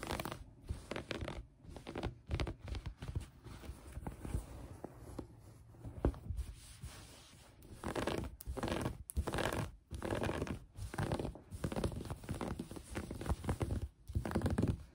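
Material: Fabric.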